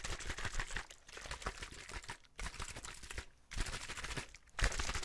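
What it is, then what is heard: Plastic water bottle. A clear, hollow plastic drinking bottle holding some liquid is held up and shaken while fingertips tap and squeeze it. The result is dense, rapid crinkling crackles and taps in bursts, separated by brief quiet gaps.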